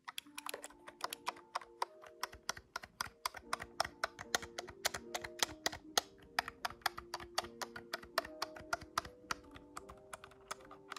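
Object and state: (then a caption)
Plastic calculator keys. Fingertips tap the plastic keys of a large grey-white plastic desktop calculator held at a tilt, making a quick, steady run of sharp, dry clicks with bright tops and almost no low end. Each tap cuts off instantly, while faint sustained mid-range tones hum softly underneath.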